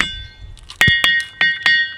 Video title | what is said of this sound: Ringing Rocks: సంగీతం వినిపించే వింత రాళ్లు - The Secret of Stones That Sing | ఎంత ringing racks, bells వస్తాయి